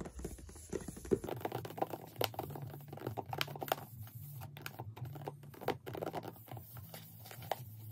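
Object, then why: Printed cardboard box. Long nails tap and scratch the flat back label side of a closed, printed cardboard Gelish Mini nail lamp box. Quick, dry, clicky taps come in irregular bursts, mixed with soft scraping and crinkly rustles over a steady low hum, each tap dying away almost at once.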